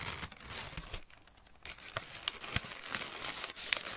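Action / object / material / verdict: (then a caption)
scrape / crumpled thin packing paper / paper / none. Fingertips pinch, pull apart and crinkle pieces of a crumpled wad of thin greyish-brown packing paper held in the other hand. The result is dense, bright crinkling and crackling with sharp papery ticks and soft tearing rustles, easing briefly to a quieter rustle near the middle before resuming.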